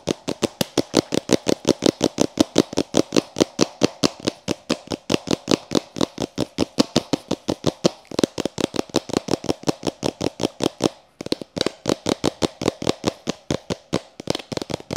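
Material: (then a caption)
Plastic. Fingertips with painted nails rapidly tap and shake a clear plastic takeaway cup with a domed plastic lid, filled with pink granular bath salt and held close to the microphone. About 75 quick, dry, hollow plastic taps follow one another steadily, with a brief pause near the 11-second mark. The granules plop and shift inside with each tap.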